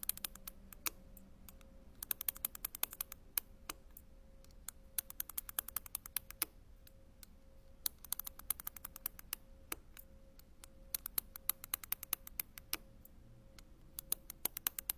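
A dark-handled tool is tapped and run across the tops of a flat sheet of small round grey and white ceramic penny mosaic tiles on a white backing, lying on a table while fingertips steady the sheet. The result is a quiet, irregular stream of dozens of sharp, bright clicks and ticks with almost no ring, arriving in dense bursts and sparser taps, over a faint steady hum.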